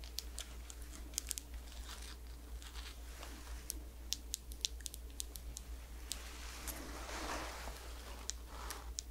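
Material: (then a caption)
Glass, plastic. Long nails tap and scratch on a small round glass face cream jar with a white plastic lid, held close to the mic. Sharp, bright clicks are scattered over soft, crinkly scratching, with a longer scraping swell near the end, all over a steady low hum.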